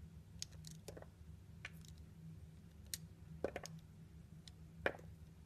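A small, solid piece of translucent orange soap, held in the fingers, is sliced with a metal utility blade. Short, crisp clicking cuts come at irregular intervals, each with a bright edge and almost no ring, over a steady low hum.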